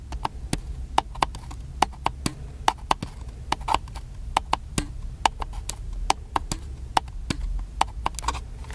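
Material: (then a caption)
Plastic. A small, hollow, black plastic camcorder, held flat, is tapped rapidly with fingertips and fingernails. The result is an irregular stream of short, dry clicks with a hollow mid tone, some sharp and bright, over a low steady rumble.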